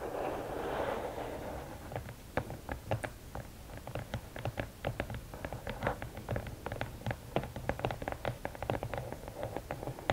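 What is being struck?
Rigid cardboard gift box.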